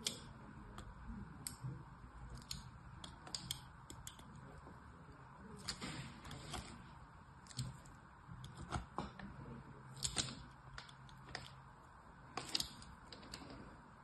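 A solid red bar of soap, held on a table among other untouched bars, is scored in a crosshatch pattern with a thin metal blade. The clip is made of short, dry scratches and clicks with bright, high edges over a low, steady background hiss.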